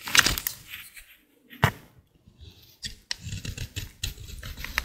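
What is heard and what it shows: A small utility blade scrapes and cuts into a solid, dry green bar of soap held in the hand, shaving off thin curls. Dry, crisp scraping strokes and crackles come in irregular bursts with short quiet gaps, their sound mostly bright and high.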